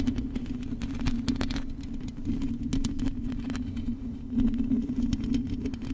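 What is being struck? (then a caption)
Metal mesh microphone grille tapped and scratched with long acrylic nails. Long acrylic nails scratch and tap the hollow metal mesh grille of a silver microphone. Many quick, sharp clicks and brief bright ticks sound over a steady low hum and a dense scratchy rumble. The level stays fairly even throughout, with slightly louder tapping near the end.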